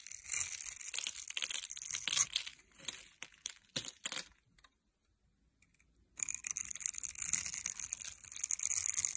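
A metal blade scrapes the scored surface of a solid rectangular bar of blue and white striped soap held in the hand, knocking off shavings and cubes. Bright, crisp crackling scrapes come in quick bursts, then fall nearly silent for a moment. A steady, dense scraping then resumes until the end.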